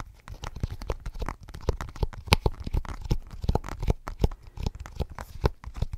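Fingertips and short nails tap and scratch on a smudged glass tablet screen in a blue rubber case, held close to the mic. A quick, irregular string of soft, dull taps with a deep, bassy thump, each dying away almost instantly, mixed with faint scratchy friction between them.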